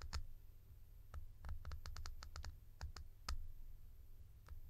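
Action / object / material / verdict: tap / plastic cap / plastic / none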